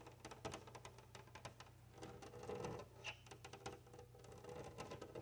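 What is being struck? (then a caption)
Glass window pane tapped with fingernails. Long nails tap and scratch rapidly across a large flat glass window pane while both hands press against the glass. The result is a quick, uneven patter of sharp, bright clicks with short scraping passages, over a steady low hum.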